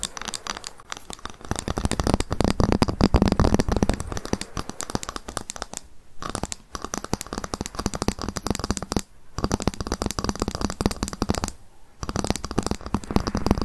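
A ruler is tapped rapidly with long fingernails and occasionally scratched, producing dense bursts of sharp, dry clicks with a faint low tone around 200 Hz. Brief pauses break the tapping at about 6, 9 and 12 seconds before it resumes.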